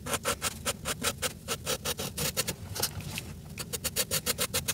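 A red felt-tip marker, held in the fingertips, scratches and rubs back and forth across a flat paper page in a coloring book while filling in Santa's coat. About 27 quick, bright, scratchy strokes are heard in steady rhythm, each with a faint tone near 460 Hz and almost no ring. There is a short, softer stretch of rubbing just past the midpoint.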